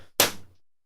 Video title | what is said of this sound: EWABS EP61 August 19th, 2012 | instead of it ringing like a bell when you tap on it it sort of makes a dull thud